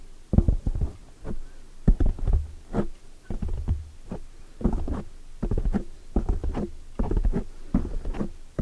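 Long polished nails make fast tapping and scratching strokes on a black foam microphone windscreen. The sound is a dense run of muffled, deep thumps and soft scraping bursts, dry with almost no ring, sitting mostly in the low end with a low fundamental around 82 Hz.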